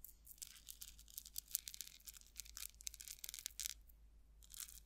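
A metal rhinestone chain tassel, held by the top, is stroked and rattled with long acrylic nails. It gives quiet, bright, crinkly jingles in a rapid run of short clustered bursts, almost all of the sound sitting in the high range over a faint steady low hum.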